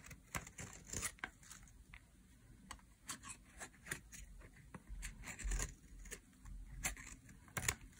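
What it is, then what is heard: Dry soap bar being shaved. A metal utility blade shaves strips off the edge of a solid pink bar of dry soap, producing a quick series of crisp, dry scraping crackles with bright, tearing edges. Each short shave ends abruptly, over a faint steady low rumble.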